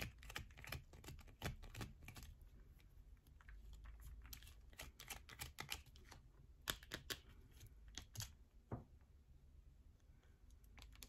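Long nails scratch and tap a solid yellow bar of soap that has a hole scraped through its center, with shavings falling onto a purple mat. Quick, dry, bright clicks and raspy scraping bursts come in uneven clusters over a soft, low background hum.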